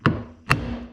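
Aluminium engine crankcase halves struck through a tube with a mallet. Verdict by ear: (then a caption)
Seated. Two mallet strikes on a tube drive the two aluminium crankcase halves of a Peugeot 103 moped engine together during assembly. Each blow lands as a short, dull, low thud with a brief bright click at impact and little ring. The dull sound shows the halves have bottomed out and are fully seated.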